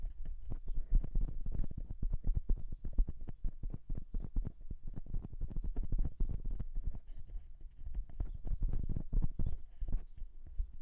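Fingertips of both hands drum and tap rapidly on the metal capsule housings of a silver metal dual-capsule microphone. The result is a steady, dense run of soft, muffled thumps, deep and boomy with almost no brightness, each tap dying away almost instantly.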